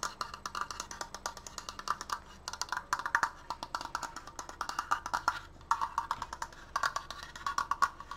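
Fingertips tap rapidly on a wooden Triforce decoration, producing a quick run of dry, woody clicks. Each tap is short, with almost no ring, and has a hollow, mid-pitched knock centered near 1.1 kHz, plus a light bright edge. The tapping comes in uneven bursts with brief pauses throughout.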